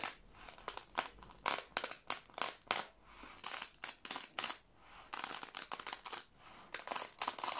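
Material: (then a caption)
Plastic. Thin plastic sheet protectors holding newspaper clippings in an old binder, stuck flat together from moisture, are peeled up by fingertips and then pressed and rubbed with the palm and fingers. The result is a dense run of bright, dry crackling and crinkling bursts with almost no low end. The bursts come in quick uneven clusters with short quiet gaps between them.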